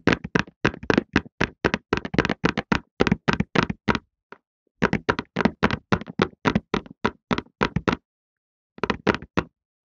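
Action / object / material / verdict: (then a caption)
tap / cardboard tissue box / cardboard / none. A rectangular printed cardboard Softlan tissue box, hollow and filled with tissues, is held in both hands and tapped and knocked with the fingertips. About 43 quick, dry, hollow knocks come in uneven bursts, with brief pauses near the 4- and 8-second marks. Each knock is short, with a papery, mid-toned thud and no ring.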